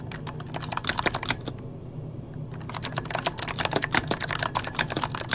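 Fingertips of both hands type on an RGB-backlit mechanical keyboard with plastic keycaps, producing rapid, bright clacks that stop almost instantly. The typing runs in quick bursts, pauses briefly in the middle, then resumes at a steady pace.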